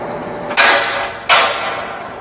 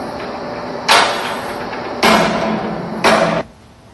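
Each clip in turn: First: solid mine roof rock. Second: hollow, drummy salt mine roof (rock separation).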